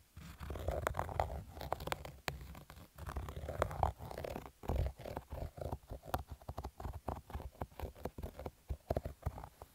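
Fingertips and nails scratch the stitched crown of a black cotton baseball cap with an embroidered logo. The result is a rough, muffled scratching dominated by low rumbling tones, starting as dense continuous rubbing and breaking into quicker, separate strokes in the second half.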